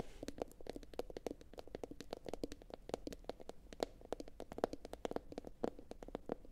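A medium, hollow, empty blue glossy bowl, likely ceramic, sits upside down and is tapped quickly with long pointed acrylic nails from both hands. The taps are short, quiet clicks with a faint hollow tone around 465 Hz that dies away almost instantly, in a steady, uneven patter.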